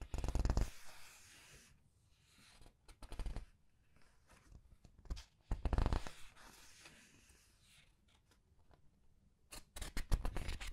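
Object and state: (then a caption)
Paper pages of a large art book. Fingers with red-painted nails turn and rub the paper pages of a large art book. Loud bursts of bright, crisp page rustling and flapping come at the start, around the middle, and at the end, with softer scratchy rubbing and faint crinkles in between.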